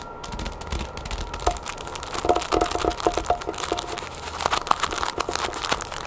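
Long painted nails scratch the crinkly clear plastic sleeve of a flat cloth headband package lying on a wooden table, using both hands. Rapid dry crinkling and crackling fill the clip with many short, sharp scratch clicks, some with a faint tonal squeak near 1 kHz.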